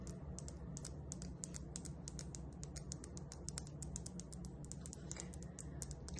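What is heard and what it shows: A small, solid, polished, spotted tumbled jasper stone, resembling dalmatian jasper, is held between the fingers and tapped and scratched with long acrylic nails above boxes of other tumbled stones. Rapid, crisp, short clicks sound much like typing on a keyboard. They sit over a steady low hum.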